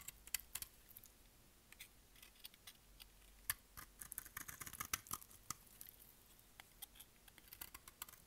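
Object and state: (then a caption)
Dry bar soap being shaved with a blade. A solid pale yellow dry bar of soap, held in the hand, is shaved with a utility knife blade. The clip is made of quiet, irregular scraping and cutting sounds: short, crisp, bright ticks and rasps that stop almost instantly and carry very little low end.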